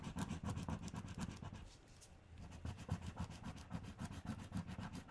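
Fingertips with long red-painted nails press and rub flat, thin valentine paper stickers down onto a sheet of pink paper lying on a table, in repeated strokes. The result is a quick, uneven run of soft, low scraping rubs with faint high crinkle, briefly quieting near the middle before picking up again.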